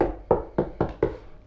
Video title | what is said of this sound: HOW TO: Proper Automotive Sound Treatment - Part 2 - Door Skins | now you'll notice the difference between here and here this sounds empty and hollow